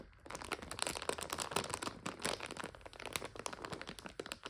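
Long nails scratch and press a full plastic egg noodle bag resting on a couch. The crinkly plastic gives a steady run of dense, bright crinkles and sharp crackles with almost no low end. Each crackle dies away almost at once.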